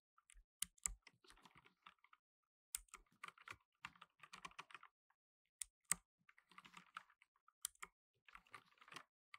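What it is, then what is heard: Plastic mechanical keyboard. Fingertips in blue nitrile gloves press rapidly on the plastic keycaps of a black plastic tenkeyless mechanical keyboard. The result is bursts of quick, bright, dry clicks and clacks with almost no ring, separated by short pauses.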